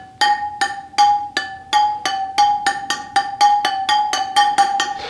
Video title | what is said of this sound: EP:20 BMW GS/A Spoked Wheels & Adjustment, Lose Spoke adjustment & Tension, how to fit new spokes GS | So now we can't hear that high-pitched tone anymore from that spoke.